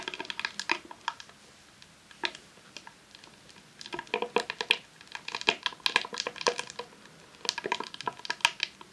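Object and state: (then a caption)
Rolled vinyl sheet in plastic wrap. Long nails tap and scratch a long roll of vinyl adhesive sheet in a clear plastic sleeve resting on a tablecloth. The result is sharp, bright crinkly clicks with almost no low end, coming in irregular clusters, with a quieter stretch early on before denser bursts of tapping.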